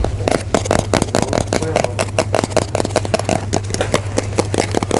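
A full pink Pringles chips can, a composite cardboard tube with a metal base, is held near the ear and tapped and scratched with fingertips and nails. It makes a rapid, continuous run of dry, crackly taps and scrapes with a hollow mid-range ring, over a steady low hum.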